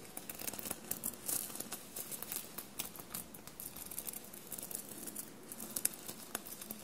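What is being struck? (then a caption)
Fabric shirt covered in metal sequins. Long blue-painted nails tap and scratch a dark blue fabric shirt covered in small metallic silver paillettes, bunched on a table. Soft, quiet crinkling and scratching fill the clip, with bright, sharp clicks scattered throughout.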